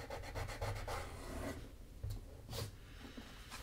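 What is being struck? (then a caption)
Leather shoe sole edge. A small piece of sandpaper is rubbed by hand along the leather sole edge of a black leather Magnanni double monk-strap shoe, making quick, rhythmic, dry scratching strokes with a low, heavy body. The rubbing fades after about a second and a half, then a few louder, isolated scrapes follow as the shoe is lifted, showing its hollow interior and insole.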